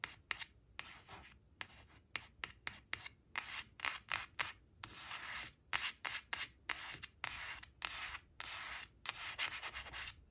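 Long acrylic nails rub and scratch across the glossy surface of a thin, flat laminated cardstock flash card marked "6 six" that rests on a woven cloth. The result is a series of short, dry, bright scraping strokes separated by brief pauses, with a few longer steady rubs.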